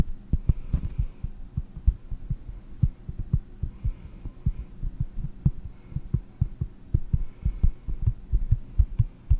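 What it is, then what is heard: Cork board. Long painted nails tap slowly on a round, solid cork board held in front of the microphone. Each tap is a soft, dull, low thud with no ring, repeating in a steady, uneven rhythm over a quiet low hum.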